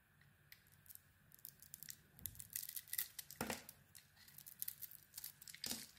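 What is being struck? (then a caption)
Bar of soap cut with a small metal blade. A small metal blade carves shavings from a hand-sized solid black soap bar with embossed lettering and a white interior. The sound is quiet, with crisp, bright scraping and crackling cuts in rapid bursts. Fuller, louder strokes land at about 2.3, 3.4 and 5.7 seconds.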